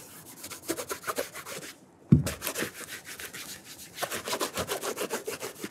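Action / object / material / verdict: scrape / leather dress shoe with wooden shoe tree / leather / none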